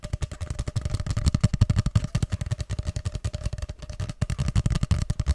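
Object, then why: Cardboard paper tube. Fingertips rapidly tap and scratch a long, hollow grey cardboard tube held upright beside the mic. Dozens of quick, dull, hollow thumps land in an uneven rhythm, with a low resonance around 110 Hz and almost no ring after each hit. Soft scratching fills the gaps, with a faint steady tone in the background.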